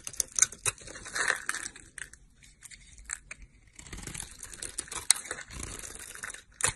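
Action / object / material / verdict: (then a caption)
scrape / olive soap bar / soap / none. A snap-off utility knife blade scrapes and cuts crumbly flakes off the edge of a solid, rectangular, stamped green olive soap bar held in the hand. Bright, dry crunching and scraping strokes come in short bursts separated by brief quiet gaps, with sharp crisp snaps as flakes break away.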